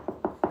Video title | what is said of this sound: Pressure Treated Beams Aren't Perfect - Hidden Damage | taking your knuckle and kind of hitting it. You can hear it. It almost sounds kind of hollow.